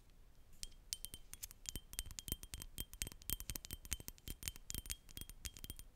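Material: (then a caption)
Glass. A Chanel Allure Homme Sport perfume bottle, a thick rectangular glass bottle with a black and silver cap, is held in one hand and tapped on its glass body with long nails. Dozens of quick, light clicks follow in an uneven rhythm, each a bright glassy tick with a faint high ring that dies away almost at once. The tapping stays quiet and steady throughout.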